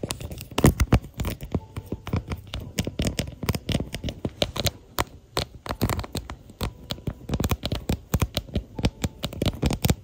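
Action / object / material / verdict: tap / plastic phone case / plastic / none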